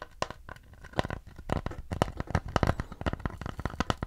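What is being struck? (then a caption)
Wooden plate. Fingernails and fingertips scratch and tap the flat back of a round, mid-brown wooden plate held in both hands. The sound is a quick, irregular run of dry, crisp taps and scratchy rasps with a low, hollow body. Each tap dies away almost at once.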